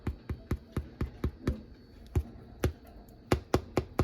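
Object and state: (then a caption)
Baked bread loaf, hollow-sounding (done). A golden-brown loaf of sandwich bread fresh out of the oven is tapped more than a dozen times in quick succession, each tap a short, dull, low thump. The hollow sound shows the bread is baked through and done.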